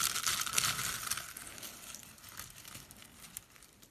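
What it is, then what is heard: Dry, brittle soap curls being crushed. Brittle purple dry-soap curls and flakes are crushed and crumbled between fingers, then rubbed into the pile by hand. The result is a dense, bright crunching and crackling, with sharp snaps in the first second that settle into softer, scattered crinkles as the sound fades.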